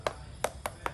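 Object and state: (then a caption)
Unripe durian. A durian fruit is knocked four times, each knock a short, dry tap with a mid-range tone that dies away almost at once. The firm, dense-sounding knocks mark the durian as not yet ripe.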